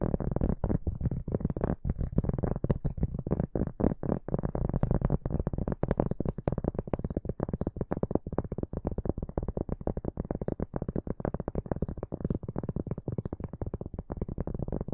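A large, round, solid cork board held in both hands is scratched rapidly with the fingertips and short nails of both hands. The result is a dense, continuous run of soft, dry scratches that sound muffled and low, with very short decays and only a faint high hiss above.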